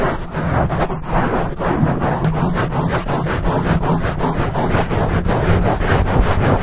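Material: Foam.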